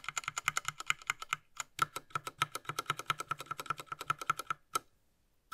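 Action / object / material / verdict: tap / plastic mechanical keyboard / plastic / none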